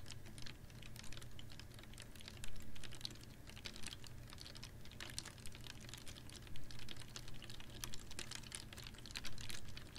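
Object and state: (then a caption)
Plastic water bottle. A clear ribbed PET water bottle with a little water in it is held upright in one hand and tapped with long nails. Quick, irregular, bright clicking taps patter throughout over a steady low hum, with a few slightly louder taps standing out.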